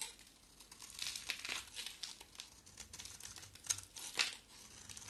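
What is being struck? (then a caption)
Bar of soap. A box cutter blade shaves an oval, solid, pale yellow soap bar with a black coat. The result is a quiet run of crisp, bright scraping and crackling flaking sounds with almost no low end, including a few sharper snaps near the end.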